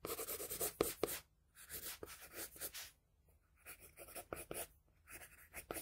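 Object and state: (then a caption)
Pencil drawing on paper. A wooden graphite pencil held in the fingers scratches and strokes across a flat sheet of drawing paper bearing a pencil sketch, resting on a solid surface. Soft, bright, papery scraping comes in bursts of short strokes, with a few sharper ticks. Two brief near-silent pauses break up the quiet, close drawing sounds.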